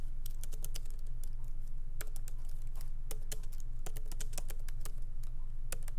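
Light typing with the fingertips of both hands on a MacBook Pro laptop keyboard, its small plastic keycaps set in an aluminum body, resting on a wooden desk. Short, crisp, bright key clicks patter at an uneven pace over a steady low hum.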